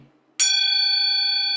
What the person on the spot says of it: 叩いたり すごく高い音が出ますね